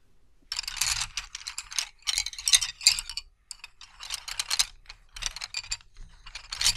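A bundle of about twenty thin, solid wooden colored pencils on a carpet is gathered, rolled and rubbed with the fingertips so the pencils clack and scrape against each other. The result is bursts of bright, dry clattering and rustling in an irregular rhythm, with a faint low rumble underneath and very little ring after each clack.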